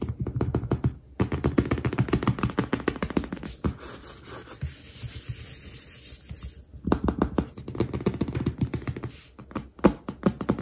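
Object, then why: Paperback textbook with laminated card cover. Fingertips and short nails tap quickly across the orange back cover of a large "Professional Baking" paperback textbook lying flat, back cover up, its solid stack of paper bound in a glossy laminated card cover. Dull, low thuddy taps come in dense bursts, give way to a steadier scratching stretch in the middle, then resume as rapid tapping.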